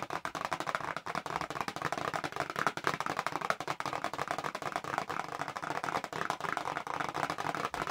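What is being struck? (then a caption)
Small cardboard box. Long nails tap fast on the front face of a small, hollow printed cardboard box for press-on nails, held upright. The result is a steady run of rapid, dry clicks centered in the midrange around 1.3 kHz, with little low end and almost no ring after each hit.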